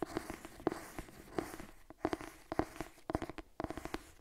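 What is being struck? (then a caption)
Cloth-bound hardcover book. Long nails scratch across the cover of a purple cloth-bound hardcover cookbook held upright. A rapid series of short, dry scrapes and clicks is heard, each with a faint hollow tone that dies almost instantly, over a quiet background.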